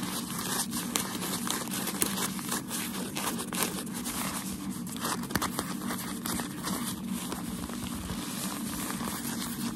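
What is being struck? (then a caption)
Folded packaging paper. Folded, crumpled white shoe packaging paper is held in the hands and scratched and rubbed with fingertips and short nails. It makes a steady, dense crinkling and crackling with scattered sharper scratches over a low, continuous rustle.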